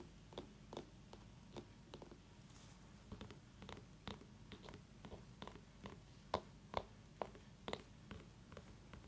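Long nails tap and scratch the rind of a small orange mini pumpkin held in one hand, making quiet, irregular clicky taps with brief bright ticks, a few of them sharper and louder near the end. A soft low hum from an essential-oil diffuser running nearby sits under the taps throughout.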